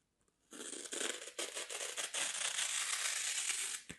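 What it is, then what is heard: Dry floral foam being broken apart. A thin, solid slab of dry green floral foam with a scored grid is held in both hands while a blade and fingers pry and break out small foam cubes. Bright, crumbly tearing and crunching starts after a brief silence, comes in a few quick bursts, then runs into a steady dense crackle before cutting off at the end.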